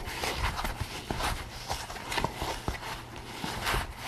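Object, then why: Latex rubber pig mask. Fingers scratch and rub the crown between the ears of a pink latex rubber pig mask worn on the head. The result is a continuous dry, scratchy rustle of short bright scrapes over a faint low hum, with the strokes blurring together rather than sounding as separate hits.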